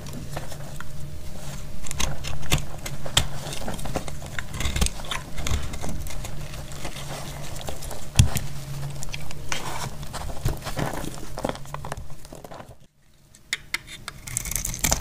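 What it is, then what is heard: Dry soap being cut. A metal blade cuts through a small, crumbly, dry blue-white soap piece held in hand, producing a dense run of fast, dry crunching and scraping crackles over a steady low hum. One sharper crunch stands out around the middle, and the sound briefly drops almost silent near the end before the crackling resumes.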